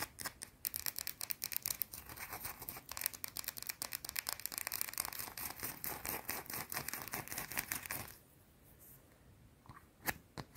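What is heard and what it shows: A small, solid, round white soap bar is scratched fast with long blue-painted nails, making a dense run of bright, crisp scraping strokes for about eight seconds. The scratching then drops to a faint hush, broken near the end by a few sharp, clicky taps.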